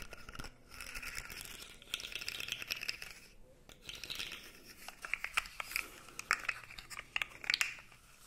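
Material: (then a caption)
Plastic. A blue segmented plastic fidget toy is flexed and rubbed with the fingers, so its segments rattle and click against each other. The result is a dry, crinkly texture of quick, bright clicks and rustles, growing into sharper, louder snaps toward the end.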